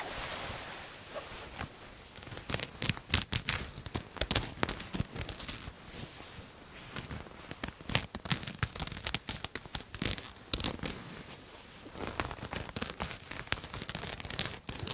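Long nails scratch a pink satin jacket with embroidered flowers, its thin fabric held to the side of the microphone. A dense run of crisp, bright scratches and crinkly rasps rises and falls in bursts, with quick swipes across the smooth satin and rougher catches on the embroidery.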